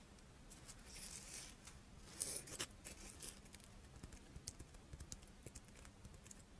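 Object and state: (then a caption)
Chocolate-filled rice wafer (monaka). A palm-sized, character-shaped double chocolate monaka, a crisp rice-wafer shell filled with chocolate, is held in both hands and scratched and tapped with long painted nails. The sound is quiet and close: dry, bright scratching swells around the first and third seconds, followed by a run of short, crisp clicking taps over a low steady hum.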